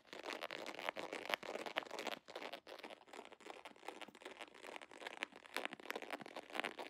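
An iridescent holographic plastic foil pouch with a scale pattern is crinkled and scratched with fingers and long nails. Quick, irregular crinkles and scratchy rustles fill the clip with bright, crisp texture and almost no low end, broken by a few brief pauses.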